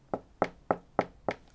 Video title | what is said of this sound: How Big Boobs Changed Medicine Forever | it's got a much more hollow sound